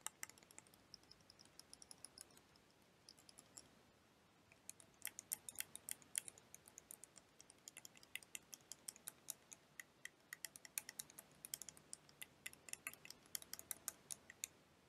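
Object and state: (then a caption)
Plastic liquid motion timer tapped with nails. A small clear plastic liquid motion timer toy with blue liquid and yellow wheels is tilted and tapped with long dark-painted nails. Dozens of quick, bright, crisp clicks come in irregular bursts, with a short quieter stretch near the start. Each tap stops at once over a faint, steady hiss.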